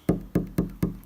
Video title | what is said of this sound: BIGGER Bites - VLOG No.3 - | when you knock on the actual pieces of wood beneath it's a very flat noise